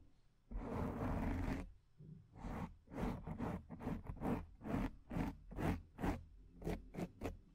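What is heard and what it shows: Long painted nails scratch the top and sides of a black foam microphone windscreen. After one long, steady scratch, about a dozen shorter, uneven strokes follow. Each is a dry, crackling rasp with a heavy low rumble and little high-end sheen, cutting off quickly between strokes.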